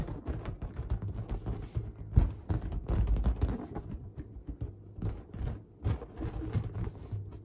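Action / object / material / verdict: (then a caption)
tap / inflated latex balloon / latex / none. Long dark-painted nails tap and scratch the surface of a large, inflated pink latex balloon that is hollow, air-filled and held up close. The result is a rapid, uneven series of soft, dull thumps and rubbing sounds. They are deep and muffled, with almost no bright content, and each stops quickly with little ring.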